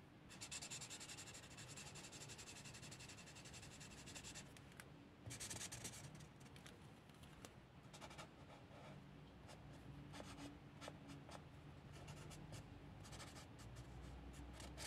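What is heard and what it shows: A hand holds a large marker and rubs its felt tip back and forth across a paper coloring book page of cats in coloring strokes. The result is a quiet, steady scratchy rubbing with bright, hissy bursts over a soft low rumble.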